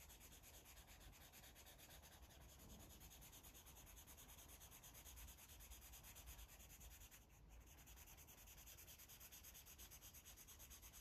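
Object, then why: Felt-tip marker on a stack of paper pages. A blue felt-tip marker rubs in quick, short strokes across a thick, solid stack of white paper pages in a coloring book lying flat. The result is a steady, soft, scratchy rubbing with a low rumble underneath and a bright hiss on top. It stays even throughout, with a brief dip about two-thirds of the way through.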